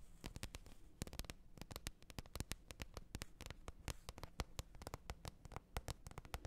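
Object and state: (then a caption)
Plastic lid tapped with nails. Long nails tap and scratch the top of a large, flat, hollow green plastic lid lying face up. A quick, uneven run of short, dry clicks stops almost instantly, with soft scratching and a low, hollow body beneath.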